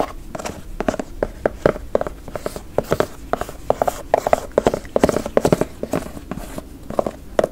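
An empty white leather sneaker with a rubber sole is held close and tapped and scratched by fingernails across the sole, the upper and the laces area. Many short, dry clicks with a mid-pitched knock sound in quick irregular bursts, each dying away almost at once, with faint scratching between them.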